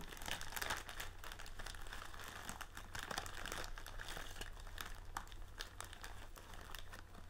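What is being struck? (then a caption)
Plastic film bag of metal-cup tealights. A large blue plastic film bag partly filled with metal-cup tealight candles is held up and squeezed by hands. Continuous crinkling and crumpling comes through with scattered sharp, bright crackles over a steady low hum.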